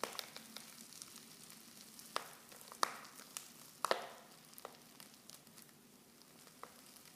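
Fingers with long nails crinkle a silver foil Pickwick tea pouch that is half full of loose tea leaves and open at the top. Quiet, steady rustling is broken by sharp, bright crackles, and a few louder snaps stand out in the middle of the clip. The crackles cut off almost at once with no ring.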